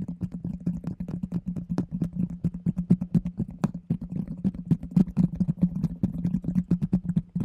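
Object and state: Plastic food container.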